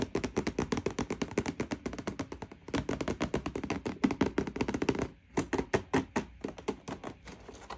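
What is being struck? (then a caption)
Cardboard toy box. Long painted nails and fingertips rapidly tap across the back face of a hollow printed cardboard toy box with the toy inside, lying flat on a table. About 49 quick, dry, hollow taps with a low-mid body and very short decay run in dense bursts, with a brief gap near the five-second mark. The tapping then resumes, slightly sparser and softer.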